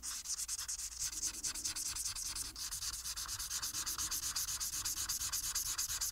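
A marker tip held in the fingers colors a single flat paper coloring sheet with dense back-and-forth strokes. The rubbing of marker on paper makes a steady, rapid, rhythmic scratchy hiss that is bright and high, with almost no low end.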